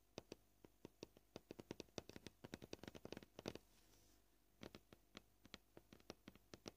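Nail tips tap a solid white plastic cutting board up close, making dozens of short, dry, quiet clicks at an uneven pace with a brief pause midway. Each tap stops almost instantly, with a light mid-range knock and a bright edge.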